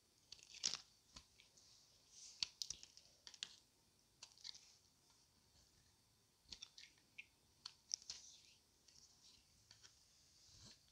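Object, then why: Bar of soap scraped with a metal blade. A solid oval white bar of dry Palmolive soap, held in one hand, is scraped along its edge with a thin metal blade, with green soap bars and shavings nearby left untouched. Quiet, crisp, bright scraping and shaving sounds come in short, irregular bursts with almost no low end and no ringing after each stroke.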